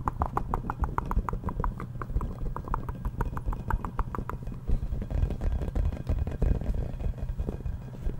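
Fingertips and nails tap and scratch the surface of a yellow, hollow, inflated rubber playground ball with a giraffe print, about 20 cm across, held in both hands. For the first four seconds, quick, evenly spaced hollow taps each give a short mid-pitched ping over a deep, boomy body. The rest is a denser run of scratching and softer, irregular tapping.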